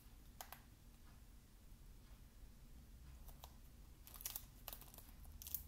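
Fingertips tap and scratch the cellophane-wrapped cover of a shrink-wrapped plastic Xbox game case held close to the mic. Sharp, bright crinkles and ticks come in scattered bursts, growing busier toward the end, over a quiet, steady low hum.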